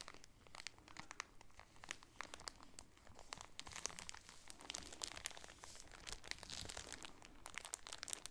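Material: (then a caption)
Plastic film. Fingernails pinch and crinkle the top of a clear plastic bag holding a folded polka-dot shower curtain with a grommet header, then both hands squeeze the package. The result is a steady run of bright, crackly plastic crinkles with many sharp, quick snaps that stop dead, growing denser and louder as the squeezing goes on.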